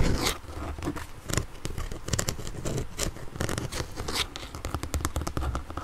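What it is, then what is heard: Plastic inline skate cuff. Long nails and fingertips tap and scratch the blue hard plastic ankle cuff of an inline skate, a hollow shell held in the hand. Quick, dense clicks and scrapes run throughout, with a hollow low knock under the crisp nail ticks.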